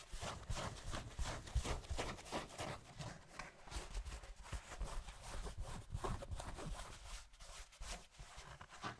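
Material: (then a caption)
Denim. A light-blue, soft cotton denim jeans leg with a large frayed rip is held up beside the microphone and rubbed with fingertips and palm. The result is a steady run of soft, scratchy fabric strokes with a heavy low rumble and a faint bright hiss. It lasts about nine seconds without pause.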